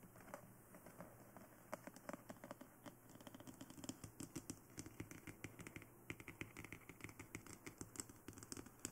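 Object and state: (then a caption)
Plastic dummy head tapped with nails. Long nails tap quickly across the sides, back and top of a glossy black hollow plastic dummy head microphone. The result is a steady stream of light, crisp clicks with a slight hollow knock. Each tap stops almost instantly over a faint low background hum.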